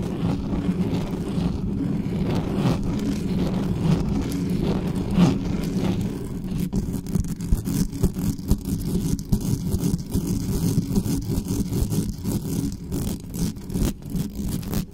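Long nails scratch fast and aggressively across the top of the mesh grille and the body of a dark metal USB condenser desktop microphone. The result is a dense, rough, low-heavy scraping roar that runs steadily at first, then breaks into choppier, sharper bursts with brief bright clicks in the second half.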